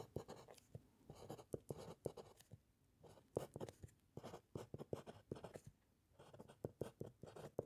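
A metal fountain pen nib scratches across a white paper sheet resting on a solid wooden clipboard during continuous writing. The quiet, dry scratching comes in quick strokes with short pauses, centered in the low mids with faint high hiss.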